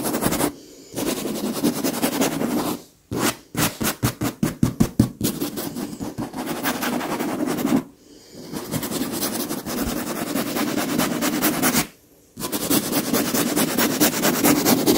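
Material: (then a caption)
Leather. Long pink nails on one gloved hand scratch across the surface of a large, soft, filled white leather pillow. The dry, broadband scratching runs steadily, with a burst of quick rhythmic strokes in the middle. It stops briefly several times, falling silent before starting again.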